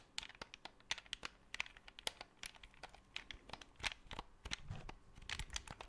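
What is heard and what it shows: A black hollow plastic Xbox 360 controller is tapped, scratched and clicked by fingertips and nails close to the microphone. The result is a dense run of short, dry, bright clicks and crinkly scratches that stop almost instantly, with a soft low thump near the end.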